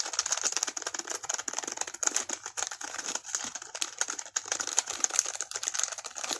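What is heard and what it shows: A single small, finger-sized tampon in a crinkly white-and-yellow patterned plastic wrapper is held in both hands and squeezed and crinkled with the fingertips close to the camera. The result is a steady stream of dense, bright crackles and sharp crinkling snaps with almost no low end.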